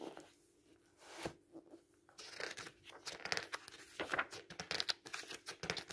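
Fingertips rub the paper pages of a thick open paperback book, then bend and turn them with a crinkling flick. The quiet, dry rustling turns into a busier run of sharp, bright crinkles and snaps, with almost no low end.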